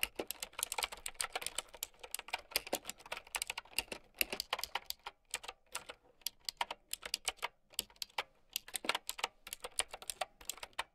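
Fast typing with long nails on a plastic mechanical keyboard with round keycaps produces a steady stream of sharp, bright clicks. Each click is very short, with almost no low end.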